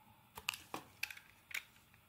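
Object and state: Bar of soap being carved.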